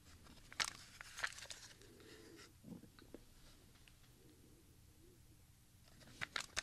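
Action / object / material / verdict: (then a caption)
tap / plastic audio cassette shell / plastic / none. A small, hollow Maxell XLII compact cassette with a grey opaque plastic shell and a white label strip is held in both hands and turned over. Fingertips tap and click on the shell, giving sharp, bright plastic clicks and crinkly handling noise over a quiet background. The clicks are loudest near the start and again at the end.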